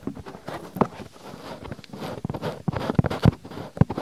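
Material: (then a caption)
Silicone. Fingertips with long nails quickly rub and scratch a soft, flexible white silicone binaural microphone ear, folding its ear flap. This produces a dense, muffled, low-pitched rustling with scattered dull thumps and almost no bright content.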